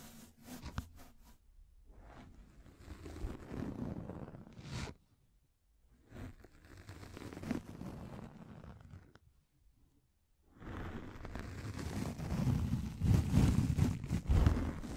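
Long lilac nails scratch a round pink fluffy microfiber makeup remover pad with a black rim, held over a foam microphone. The scratching comes as a dull, low-heavy rustling rumble in three stretches separated by brief silences, with the last stretch the loudest and densest.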